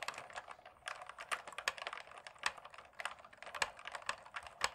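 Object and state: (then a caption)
Plastic mechanical keyboard keys. A black plastic mechanical gaming keyboard is held steady while fingertips tap quickly on the keycaps at its left and right edges. The result is a rapid, uneven stream of crisp, dry key clicks with bright, short ticks and no low-end thump.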